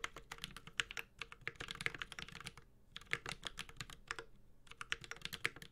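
A 65% Space65 Cybervoyager mechanical keyboard with an aluminum case, ABS plastic keycaps and Holy Panda switches is typed on continuously with the fingertips of both hands. Bright, crisp clacks come in quick bursts with short pauses, each one dry and gone almost instantly.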